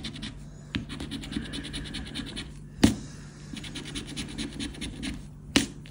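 A hand-sized paper JOKER (€20,000) lottery scratch card with a latex scratch-off coating, lying flat on a black fabric surface, is scraped back and forth with the edge of a dark round plastic disc, like a poker chip, held between thumb and fingers while the other hand's fingertips hold the card steady. The sound is a steady, quiet stream of rapid, bright, gritty scratching strokes, broken by three sharper, louder clicks. Scratch-off dust builds up on the card as it goes.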